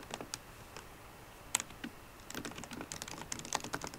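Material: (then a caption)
Plastic. Fingertips and painted nails of both hands tap the black plastic keys of a solid 13-inch silver aluminium MacBook Pro. Sparse, bright, short clicks in the first half give way to a faster, denser run of typing with a few sharper taps standing out, each click dying away almost instantly.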